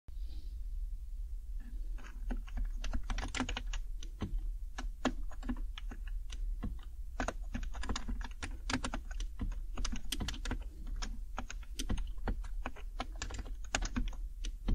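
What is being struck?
Plastic mechanical keyboard.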